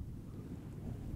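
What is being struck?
Nothing is struck.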